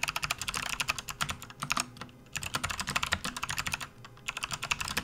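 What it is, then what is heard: Plastic membrane keyboard being typed on. A full-size RGB-backlit plastic membrane gaming keyboard on a desk mat is typed on continuously with the fingertips of both hands. The result is a steady stream of quick, bright clicks and clacks, with two brief lulls between bursts.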